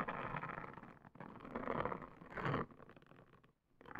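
Long green nails scratch a pink silicone/plastic hair washing scalp brush with bristles, and the brush is rubbed on a woven placemat. Dense, crackly bristle scratching and rubbing swell in a few bursts, dip almost to silence near the end, then pick up again.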